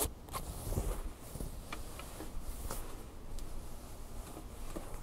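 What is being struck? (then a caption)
Stuffed fleece plush toy. Long fingernails scratch and rub across a large red Angry Birds plush toy made of soft stuffed fleece fabric. The result is a quiet, continuous scratchy rustle with a low, muffled body and faint brief ticks scattered through it.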